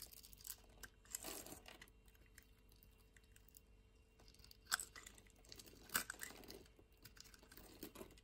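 A utility-knife blade scrapes and cuts chunks off the edge of a solid orange bar soap held in the palm. Quiet, irregular dry scraping is broken by sharp, bright crunches as pieces snap away, with the loudest cuts near the middle and later in the clip.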